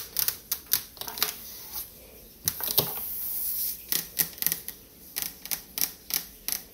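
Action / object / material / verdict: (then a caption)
tap / refrigerator door, painted metal / metal / none. Long fingernails tap fast on a refrigerator door, making a quick series of sharp, bright clicks with almost no low end. Each tap dies away almost at once. Midway through, a steady brighter hiss rises briefly under the taps.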